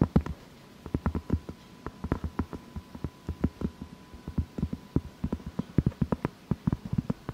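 Long fake nails tap and scratch the surface of a large, solid round cork board held upright. The result is a quick, uneven run of short, dull, low thuds with no ring, over a faint steady hum. There is a brief pause near the start.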